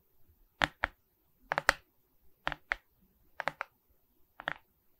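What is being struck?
Resin beads on a wooden-backed canvas board.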